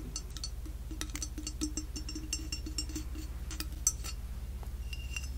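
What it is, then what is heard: Ceramic ghost figurine. A flat, white, glossy, hand-sized ghost figurine with a painted face, probably solid ceramic, is held in one hand and tapped and scratched with long manicured nails. Many quick, bright clicks and light scrapes ring out over a steady low hum, each dying away almost at once.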